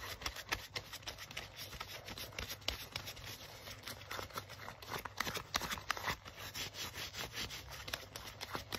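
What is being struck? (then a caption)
Leather jacket sleeve. Fingers grip, rub and scratch the crinkled sleeve of a worn black leather jacket. The result is a continuous run of bright, dry crackles and scratchy rustles with quick, sharp transients, over a faint steady low hum.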